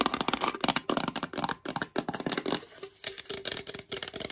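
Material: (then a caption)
Plastic. A hollow black plastic collagen supplement tub, held upright in both hands, is tapped fast with fingertips and long nails on its sides and lid. The result is a rapid, uneven stream of dry, bright clicks and light knocks that stop almost instantly, with no deep body to them.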